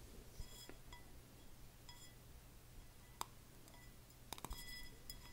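A medium red plaid-printed glass candle jar, filled with wax and lit, is held close to the mic and tapped with fingernails on the glass. Quiet, scattered clinks ring with a clear tone near 1 kHz and bright high overtones. A steady low hum sits underneath.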